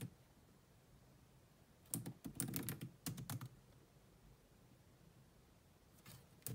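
Long manicured nails and fingertips rapidly tap the dark plastic chiclet keys of a grey laptop with a hollow body. Quick bursts of clicky, hollow-sounding keystrokes come in clusters around the middle, with a low thud beneath each bright click. After a quiet stretch, a few more taps close the clip.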